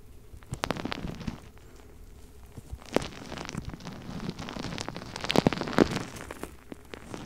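A palm-sized, soft purple rubber mesh stress ball filled with gel beads is held beside the microphone and squeezed and rubbed with the fingertips and nails. It makes a dense run of quick, sharp crackling clicks over a low squelchy rustle, growing busier and louder near the end before tapering off.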